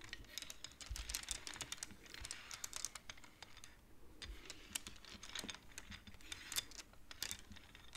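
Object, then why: Wooden abacus beads. Fingers rapidly push the beads of a wooden abacus so they clack together. A dense stream of quick, bright, dry clicks plays throughout, with a short lull near the middle before the clacking resumes.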